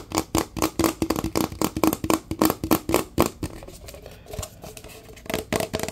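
Fingertips tap rapidly on a large, empty, hollow paper fast-food cup with a red pattern as it is turned in the hands, producing a quick run of dull, hollow knocks with a low resonant tone around 300 Hz. After about three and a half seconds the tapping softens into quieter scuffs and handling sounds, then a few firmer taps return at the end.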